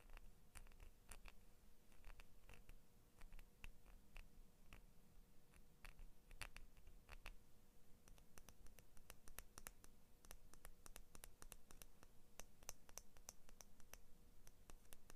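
Long nails scratch and tap along the metal blade and the orange and blue plastic handles of a small pair of scissors held up close. Quiet, rapid, dry ticks and sharp bright clicks sound over a steady low rumble, with soft scratchy rasps between them.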